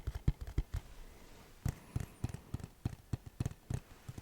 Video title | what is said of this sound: random items ASMR 💿 - tapping, tracing & rambling | It definitely sounds different than the regular case.